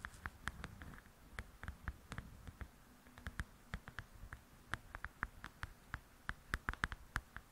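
Long acrylic nails tap and scratch the cover of a softcover paper coloring book lying flat and solid. About thirty quick, dry, clicky taps come in an uneven run, each a bright tick with a soft low thud that dies away almost instantly. A faint scratchy rustle fills the gaps between them.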